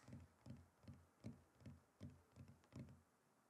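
A wooden chopping board is tapped and knocked in a steady, unhurried rhythm. Each knock is a dull, low wooden thud with a short ring, plus a faint bright click. The board gives a soft, hollow, woody knocking pattern.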